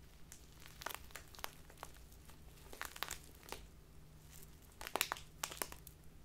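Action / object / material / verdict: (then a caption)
scrape / thin plastic bag of loose tea / plastic / none. A small, crinkly plastic bag full of loose tea is crinkled by fingertips and long nails. Quiet, irregular bursts of sharp, bright crackling rise over a faint steady low hum, with denser clusters of crinkles near the end.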